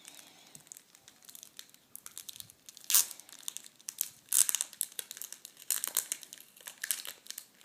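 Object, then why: Plastic packet of metallic tissue paper. A plastic packet holding red metallic tissue paper is handled and opened by fingers and nails on a table. It makes a dense, bright, crisp crinkling with quick rustles and ticks, and louder crackling bursts near 3, 4.4 and 6 seconds.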